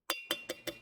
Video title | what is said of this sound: Some Basic Concepts of Chemistry One Shot - Class 11th Chemistry Chapter 1 HSC Board - Vanshika Mam | तो टन में करके आवाज आती है। Ringing sound.